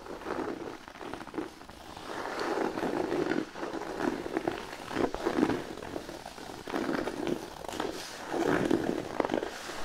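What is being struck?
Thin cork sheet.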